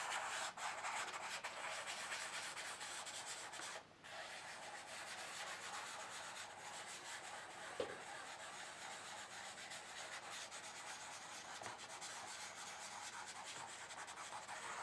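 A hand holds the edge of a flat sheet of black paper with a chalk drawing on it while fingertips rub and smudge the chalk across the surface. A steady, soft, papery hiss with bright texture continues throughout, briefly dropping out just before the 4-second mark, with a few faint taps along the way.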